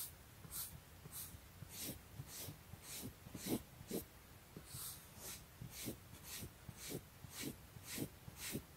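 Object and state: Nothing is struck.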